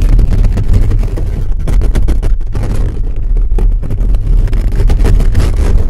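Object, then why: Metal mesh microphone grille. Fingertips and nails scratch and rub fast across a hollow black metal mesh microphone grille. The result is a loud, continuous, dense rumbling scrape with nearly all its energy low around 90 Hz and a rapid, textured flutter throughout.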